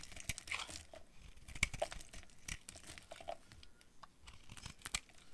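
A utility knife blade carves brittle yellow flakes off a hand-sized, solid bar of dry yellow soap with a dark coating, held in one hand. The result is a steady run of quiet, dry, crisp crunching and scraping sounds, bright and sharp with very little ring, punctuated by a few louder snaps.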